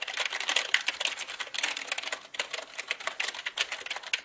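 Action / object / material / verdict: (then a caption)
tap / plastic mechanical computer keyboard / plastic / none. Both hands type with their fingertips on a black mechanical computer keyboard with plastic keycaps. The result is a rapid, dense run of short, bright plastic clicks with almost no low end, coming in quick bursts with brief pauses.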